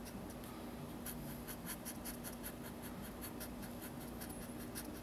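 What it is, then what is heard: Paper sketchbook page. A felt-tip marker fills in a drawing on a page of a large spiral-bound paper sketchbook lying flat on a table, moving in short strokes. Quiet, steady scratching and rubbing of the tip on the paper comes as a string of soft, bright strokes over a low background hum.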